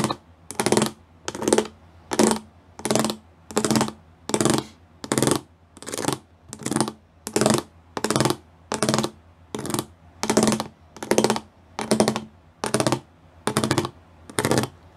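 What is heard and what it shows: Fingertips and nails tap across a flat grey plastic sheet covered in rows of small raised square pyramid studs. Quick bursts of crisp, bright clicking and scratching repeat in a steady rhythm, each burst short and dry. A faint low hum sits underneath.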